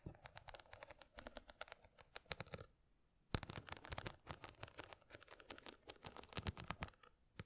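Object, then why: Small box covered in glass or plastic rhinestones. Long fingernails scratch and tap a small square box covered in glass or plastic rhinestones, held in one hand. A quiet, dense stream of bright, crisp clicks and scratchy ticks stops briefly midway, resumes with a sharper tap, and continues to the end.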